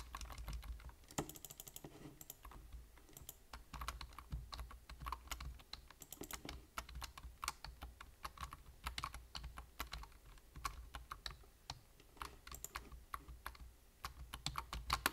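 Fingertips tap rapidly on a black plastic computer keyboard with hollow keys, producing a fast, uneven stream of short, hollow clicks and clacks with bright edges. The clicks stop almost instantly over a faint, steady low hum, and the last few keystrokes come through slightly louder.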